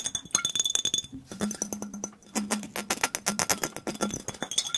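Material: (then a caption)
Glass. A mostly empty clear glass soda bottle with a red round label and a little liquid inside is held up and rapidly tapped and handled with the fingertips. Quick, bright clinks with very short ring come in a dense stream, with a faint low hum in the middle stretch.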